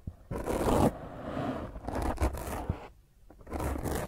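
Long fingernails scratch across the top of a black, soft, porous foam microphone windscreen, producing bursts of rough, dense scraping and rustling. The noise is heavy and muffled with a strong low rumble, rising and falling in longer strokes broken by brief quiet gaps and a few sharper scratches.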